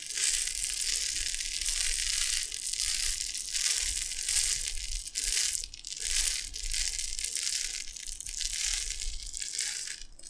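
A gold-lidded glass jar full of dry tapioca pearls is held in both hands and shaken and tilted so the pearls pour from side to side inside. The result is a steady, bright, hissing rattle that swells and dips with each tilt, with brief quieter gaps between the pours.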